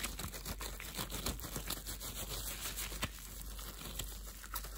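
A pair of thin, clear, translucent plastic disposable gloves, worn on both hands, as the gloved fingers rub, squeeze and stretch against each other. The result is a soft, continuous run of squeaky, crinkly friction sounds with brief brighter crackles, over a low steady hum.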